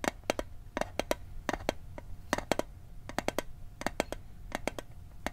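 A small, hollow metal Altoids mint tin is held in the hand while its lid is tapped with fingertips and nails. About two dozen short, dry clicks come in quick clusters of two to four, each with a bright edge and a faint hollow tone around 600 Hz that dies almost at once over a low background rumble.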